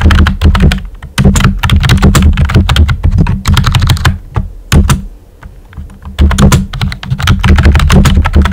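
Fingertips with short nails type on a full-size, hollow-bodied pink plastic computer keyboard with round white typewriter-style plastic keycaps. Rapid clacking taps each land with a deep, hollow thunk and a short bright click on top, dying away quickly. The typing slows and quiets briefly in the middle before picking back up to a steady rhythm.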